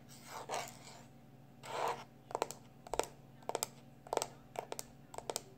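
A small black plastic external hard drive is held in one hand while fingertips and short nails rub and scratch its casing. Two soft, drawn-out rubs are followed by a run of short, sharp scratches and clicks, often in quick pairs, each dying away at once against a quiet, steady hum.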